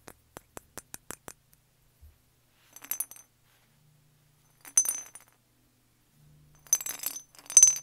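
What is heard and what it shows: A small hollow brown glazed ceramic jar with a cream and green lid is held and turned in the hand while fingernails tap it. A run of eight quick, light, high clinks is followed by three louder bursts of rapid clicking and rattling. Each tap is bright and glassy and dies away almost at once.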